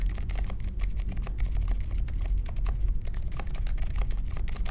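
A small 60% Polaris mechanical keyboard with a grey case, white, mint and pink plastic keycaps and silent linear Alpaca switches sits on a marble desk and is typed on steadily with the fingertips of both hands. Quick, soft, muted keystrokes blur into a continuous patter over a steady low rumble.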